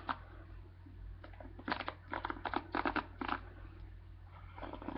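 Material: Plastic.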